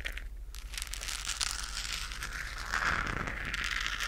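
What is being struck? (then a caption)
Textured plastic globe lamp. Long nails scratch over a hollow, lit, textured plastic galaxy moon lamp held in the hands close to the mic. The result is a continuous dense, crackly rasp that is bright in the highs, swelling slightly louder toward the end over a steady low hum.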